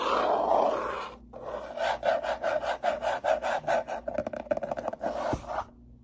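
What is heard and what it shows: A closed, hollow brown cardboard box is held up, then its top surface is scratched and rubbed with fingertips and long nails. A long papery rub opens the clip, followed after a brief pause by a steady run of rhythmic scratching strokes with a mid-range, hollow tone. The strokes turn quicker and shorter, a sharp tick sounds near the end, and the scratching stops.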